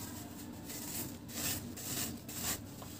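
A large, round, flat, solid dry cement cake, held by the fingertips, is shaved with a blade in repeated scraping strokes, and powder falls away. Dry, bright rasping strokes swell and fade over a steady low hum.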